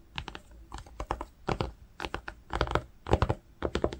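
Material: Cotton.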